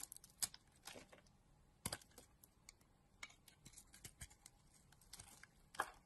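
A utility knife blade carves and scrapes a solid pink soap bar with a blue outer layer, held in the hand, into shavings. Quiet, crisp scraping strokes and short bright clicks come in irregular bursts, with a few louder cuts standing out against a near-silent background.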